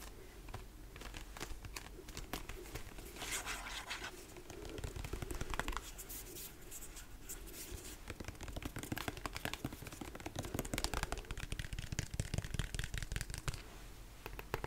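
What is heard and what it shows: Fingernails scratch and tap the sides of a large white plastic lotion pump bottle. The result is a steady stream of quick, crinkly scratches and soft hollow taps with a dull low body and bright edges that stop almost at once.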